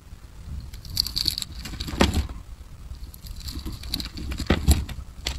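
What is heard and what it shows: A steel utility knife blade scrapes and cuts thin strips off the surface of a solid, opaque, palm-sized pink oval soap bar held in taped fingers. Soft, crisp scraping runs throughout, with bright, dry crunches and sharper cutting strokes standing out around 2 seconds and again near 4.5 to 4.7 seconds over a low, muffled rumble.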